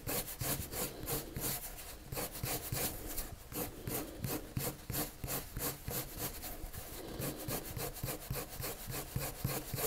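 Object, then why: Colored pencil on drawing paper. A hand draws circular strokes with a pale, wood-cased colored pencil on a sheet of flat white drawing paper resting on a table. The lead scratches and rubs the paper in a steady, somewhat uneven rhythm of about three strokes per second. Each stroke carries a soft, low rasp with a bright, papery hiss on top.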